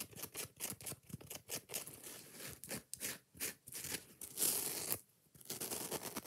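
Long nails rapidly scratch the green scouring pad and tap the yellow foam of a kitchen sponge in a fast, aggressive rhythm. The scratches are bright, hissy rasps with soft, dull taps mixed in. A louder, sustained scrape swells near the end before a brief pause, then the scratching resumes.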